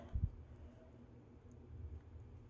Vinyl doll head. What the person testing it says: the real stuff feels very hard, and when you tap on it, it's not hollow.